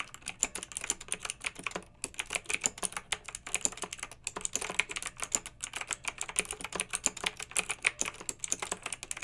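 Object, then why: Plastic mechanical keyboard with round metal-rimmed keycaps. A long-nailed hand types continuously with its fingertips on a pink backlit, typewriter-style plastic mechanical keyboard with round, metal-rimmed keycaps. Rapid, bright, clicky keystrokes come in a steady, dense stream, each one a short, dry tap with almost no ring.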